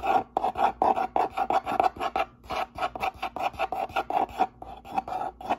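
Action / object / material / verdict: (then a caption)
scrape / corrugated cardboard box / cardboard / none. Fingertips and nails scratch and rub the top flaps of a medium, hollow brown corrugated cardboard box with a white label and its lid partly open. A rapid series of short, dry rasping strokes, each with a papery mid-range scrape, repeats steadily for about six seconds.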